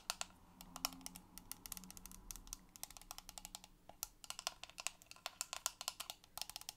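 A small, hollow, clear plastic toy fish tank with a lime-green lid and toy fish inside is held in both hands and tapped rapidly on the lid and sides with long purple acrylic nails. The taps make quick, bright, dry clicks with almost no ring, in an uneven typing-like patter.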